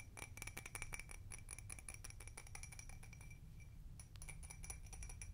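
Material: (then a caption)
Glass. Long red nails rapidly tap and scratch the bumpy sides of a small, empty, hollow glass tumbler with a hobnail/cut texture, held in both hands. Quick, quiet clicks and clinks carry a bright glassy ring near 2.3 kHz and higher shimmering tones, over a steady low rumble. The tapping eases briefly around the four-second mark before picking up again.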